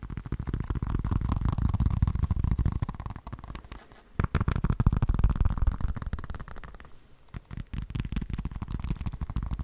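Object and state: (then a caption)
Faux-leather phone case. A black faux-leather flip case, about the size of a phone, is held flat and tapped with fingertips and nails. Rapid, dull, low-pitched taps with almost no ring come in dense runs, with quieter gaps around 3 to 4 seconds and 7 seconds.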